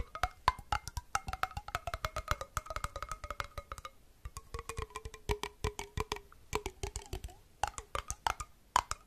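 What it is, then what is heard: Glass jar with metal lid. A small, empty, hollow glass jar with a copper-colored metal screw lid is held in the hands and tapped quickly with fingertips and nails close to the microphone. Dry, clicky taps come in rapid bursts, with a short pause partway through. Each tap carries a faint ringing tone near 1 kHz, and a lower tone slowly slides down in pitch.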